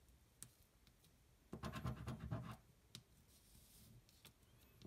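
A thin, flat cardboard scratch-off lottery ticket is held flat on a table and scratched with the edge of a coin until the hand rests. A few soft, isolated scrapes lead into a dense burst of rough, gritty scratching in the middle, then scattered lighter strokes trail off. The sound stays quiet and is mostly low-pitched.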